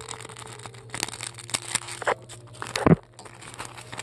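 Long decorated acrylic nails dig into and scratch the top of a large, solid white polystyrene foam ball. The result is a stream of squeaky, crackling crunches over a steady low hum, with one louder, deeper crunch near the end.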